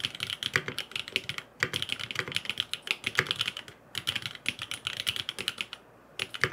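Fingertips type rapidly on a grey aluminum FROG MINI mechanical keyboard with blue and purple plastic keycaps and no foam inside. Dense bursts of short, bright clacks with a crisp, clattery tone and almost no low thump are broken by brief pauses near 1.7, 3.8 and 6.1 seconds.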